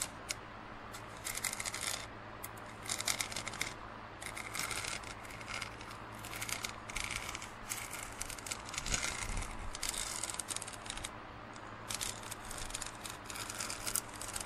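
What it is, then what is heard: Plastic drinking cup. A large, hollow, empty plastic drinking cup with a printed Ninjago design lies on its side on a plastic lid and is scratched and tapped with fingernails and fingertips. Bursts of bright, crisp scratching and clicking taps come and go in clusters over a faint steady low hum, with quiet pauses between them.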